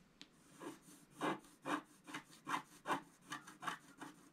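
A wooden stylus scratches a flat scratch art sheet, black coating on paper, in long strokes near the bottom edge. After a brief click, there are eleven soft, rasping scrapes in a loose, uneven rhythm. Each stroke swells and fades as a quiet, airy scratch centred around 1 kHz with a faint bright edge.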